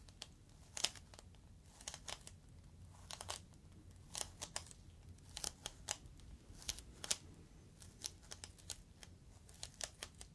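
A clear inflated plastic air-column cushion bag is held up and squeezed with fingertips at its top. It gives off quiet, bright crinkling crackles and sharp little snaps that stop almost instantly, scattered irregularly over a soft low rumble.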